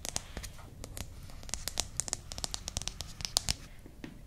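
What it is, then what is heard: Paperback book scratched with nails. Long manicured nails scratch and rub the glossy paper cover and pages of a small, solid, closed paperback "Potato Recipe Book" held in both hands. The result is a quiet, dry, bright papery scratching, crinkling texture scattered with many short, sharp ticks that stop instantly.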